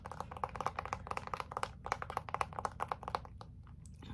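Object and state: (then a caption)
Fabric-covered gift box. Long nails tap quickly on a small, closed, red brocade fabric-covered gift box held up close, making about twenty short, dry clicks. Each tap carries a faint hollow tone near 1 kHz over a low, steady background rumble.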